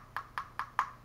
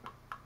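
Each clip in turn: First: hollow thin plastic camera body. Second: solid-built plastic action camera body.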